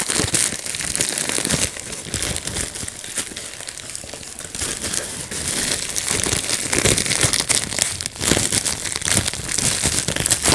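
A clear plastic bubble wrap sheet is squeezed by fingertips, popping bubbles while the sheet crinkles. The result is a continuous bright, crackling crinkle with many sharp pops scattered throughout, getting somewhat louder toward the end.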